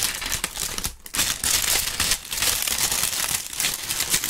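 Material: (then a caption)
Dried leaf. Large, dry brown maple leaves are crumpled between two gloved hands close to the microphone. They make a steady, bright crunching and crackling that runs through the whole clip, with brief dips in loudness near one second and just after two seconds.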